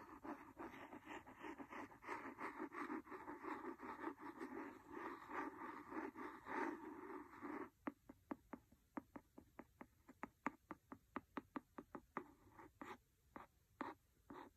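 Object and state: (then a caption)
Cloth-bound hardcover book. A wooden pencil scratches steadily across the cover of a large, solid, red cloth-covered hardcover book for about eight seconds, giving a dense, rustling scrape. It then switches to a quick series of sharp, dry taps on the same cover, each one short and separate with quiet gaps between.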